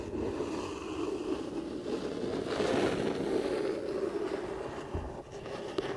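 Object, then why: Cardboard box. Long painted fingernails scratch and rub across the printed front of a flat, rectangular, hollow cardboard Lego set box held upright. The result is a continuous, dry, papery scraping with a hollow midrange body. It swells slightly in the middle and dips briefly near the end.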